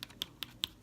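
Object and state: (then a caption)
Dry, hardened acrylic nail. Freshly applied acrylic nails are tapped to check they are dry, giving four sharp, hard clicks. The taps are bright and high-pitched with almost no ring, and the crisp sound indicates the acrylic has hardened and set.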